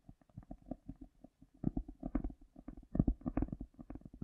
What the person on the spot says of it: tapping and lightly scratching a cork with the echo effect in full power